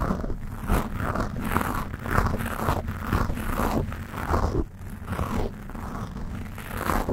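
Long nails quickly scratch a black foam windscreen on a Blue Yeti microphone. The result is a steady run of rapid, muffled scraping strokes with a heavy low rumble and little brightness. The rubbing briefly softens just before five seconds, then continues.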